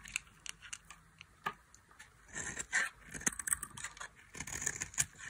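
A dry, orange-rimmed bar of solid soap held in the hand is shaved with a metal blade. The audio is a series of short, crisp scraping and shaving strokes, bright and high-pitched with little low end. Brief crackling bursts come between quieter pauses.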